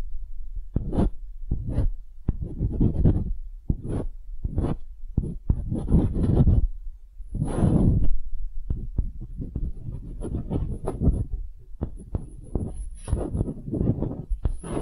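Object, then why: Small wooden hemisphere. A small solid wooden hemisphere, held in the fingers, is scratched and tapped with long acrylic nails. The result is an irregular run of short, dull, low thuds mixed with soft, bassy scratching swells, with faint high clicks above.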